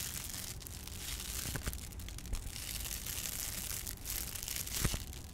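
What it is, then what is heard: Foil insulation sheet being scratched. Long painted nails scratch and rub across the ribbed surface of a flat, textured, ridged silver foil-laminated insulation sheet held under both hands. The result is a steady, bright crinkling scrape over a low rumble, with a few sharper, louder scratches standing out along the way.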